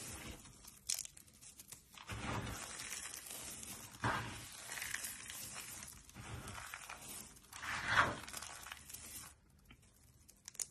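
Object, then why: Dry soap shavings. Both hands scoop, squeeze and rub a pile of dry pink, yellow, green and white soap shavings, pressing the solid, brittle flakes with fingertips and short nails. Dry crunching and crinkly tearing sounds come in repeated bursts over a steady rustle, with a sharper, brighter crunch near the end of the handling.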